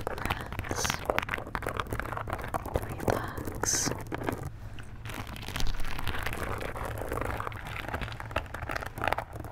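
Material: Glass beads.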